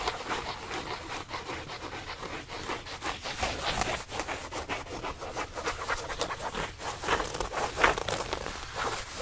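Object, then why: Denim jeans fabric. Fingertips rub and scratch blue denim jeans held beside the microphone. A steady, rough scratching rustle comes in quick, uneven strokes, mostly in the mids with a bright, gritty edge and little low end.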